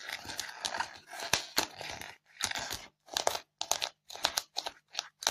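Long fingernails scratch the surface of a white polystyrene foam block covered in crumbled foam beads. The sound is a dry, bright, crinkly scratching with crunching, squeaky textures and almost no low end. It comes in short bursts separated by brief silences.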